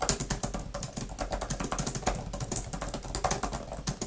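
Long-nailed fingertips type fast on a grey, thin plastic laptop type-cover keyboard with flat plastic keys. A rapid, uneven stream of short, crisp taps and bright clicks follows, each dying away almost instantly over a soft low thud.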